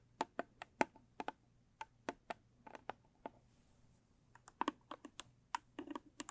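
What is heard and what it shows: Long stiletto nails tap the top and sides of a medium-size, square, blue textured cardboard gift box that is closed and hollow. About 22 sharp, dry clicky taps come in quick irregular bursts, with a pause in the middle. Each tap has a hollow, mid-pitched knock that dies away almost at once.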